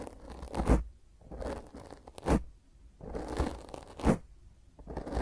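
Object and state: Foam microphone windscreen being scratched.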